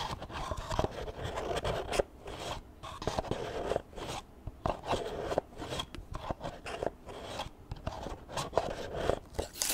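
Extra long acrylic nails tap and scratch the spine and page edges of a small solid book with paper pages, held upright near the mic. Quick crisp clicks and dry, crunchy scraping come in dense bursts, with short quiet gaps between them. The sound stays close and mid-toned, and each tap dies away almost at once.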